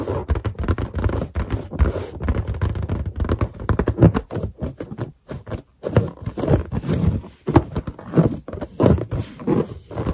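Long green and black painted nails and finger pads tap fast on a large, hollow, air-filled white latex balloon with a boar-mask character drawn on it. The result is a dense stream of soft, low, quick thuds with a muffled drum-like body and only faint bright clicks. Short pauses break the tapping near the middle and again toward the end.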